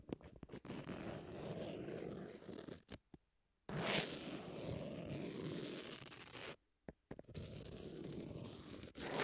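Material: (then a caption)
Emery. Long nails scratch across the surface of a long, thin, flat emery nail file with a pink edge lying on a table. The scratching is a dry, gritty rasp, heard in three sustained passages separated by short silences and a few sharp clicks. It carries a low-mid body with a bright, hissy edge.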